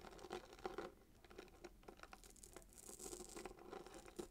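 A small cardboard gift box wrapped in red paper and tied with a gold glitter ribbon is held in one hand while fingernails of the other hand scratch rapidly across the paper and ribbon. The result is a quiet, dense run of short crinkly scratches and light taps with a papery, bright hiss. There is no pause between strokes.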